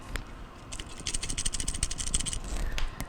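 A start relay removed from a Maytag refrigerator compressor is shaken by hand and gives a quick, bright rattle of loose clicking pieces over a low background rumble. The rattle shows the relay has failed and the compressor's starting components are bad.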